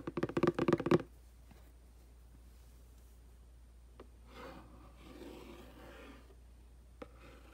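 The black handle and tip of a makeup brush rub and scratch across the front of a hollow, printed cardboard aquarium box. Seven quick, dry scratching hits come in the first second, then near silence with a faint tick. Soft, low scuffing follows, ending in one more light tick.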